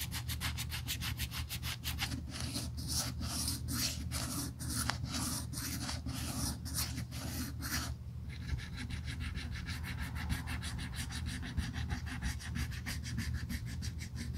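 A small piece of red sandpaper is rubbed back and forth along the edge of a thin, solid black pebbled-leather Burberry handbag handle held in gloved hands during restoration. It makes a steady, rhythmic scratchy rasp that quickens into shorter, faster strokes about halfway through, over a constant low hum.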